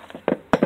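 Thick glass from the screen of a dismantled old TV, up to an inch thick in spots, is tapped four times. Each tap is a short, dull knock with a low-mid tone and almost no ring.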